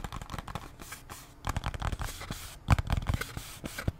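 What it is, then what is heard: Cardboard bandage box. Long nails scratch and tap on a small cardboard Band-Aid box, making soft, dry scraping rustles broken up by quick, muffled taps. The sound is quiet and mostly low and papery, with a few sharper, louder taps late in the clip.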